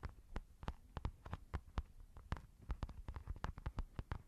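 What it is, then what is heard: Textured fabric makeup bag. Long nails scratch and tap a white textured fabric makeup pouch, soft and hollow, in a quick, uneven run of taps. Each tap is a short, soft, dull thump with a faint crisp click, over a quiet low hum, and the sound dies away almost at once.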